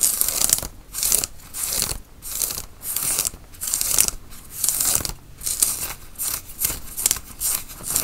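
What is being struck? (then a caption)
Cotton t-shirt. Fingernails scratch the sleeve and front of a worn grey tie-dye cotton t-shirt. The scratching comes in steady rhythmic strokes of bright, hissy fabric rasping, each rising and fading with short quiet gaps between them.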